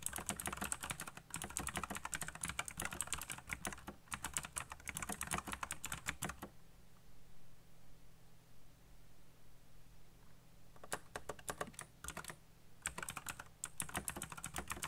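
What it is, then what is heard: Mechanical keyboard with plastic keycaps. Fingertips type fast on a black, backlit mechanical computer keyboard with plastic keycaps, making dense, bright clicking bursts for about six and a half seconds. The typing then stops, leaving a low steady hum. A few short keystroke bursts return near the end.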